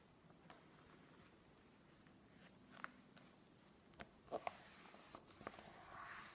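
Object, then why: Glossy paper magazine. Fingertips press and stroke the pages of a thick, open glossy-paper magazine lying on a wooden table, then a page is turned and fingernails rub along the page edge. Quiet, soft paper rubbing is broken by about seven brief crisp taps and crackles, ending in a brighter rustle as the page turns.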